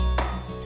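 At an artisanal tile works, a dry clay tile piece is struck to test it and snaps cleanly. A single sharp crack rings briefly around 720 Hz over a steady low hum. It breaks straight away, showing the clay is dry.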